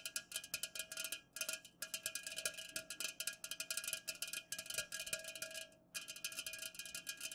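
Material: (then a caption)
Aluminum. Long nails of both hands fast-tap the sides of an unopened, full 330 ml white Pepsi-Cola aluminum can standing upright on a fuzzy cloth. The result is a rapid stream of short, bright metallic clicks with a faint ring, running almost continuously with a few brief pauses.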